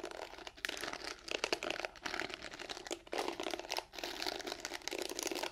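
Long nails scratch across the bristles of a pink plastic hairbrush held bristle side out. The result is a dense, bright, crinkly scratching with almost no low end, broken by a few brief pauses between strokes.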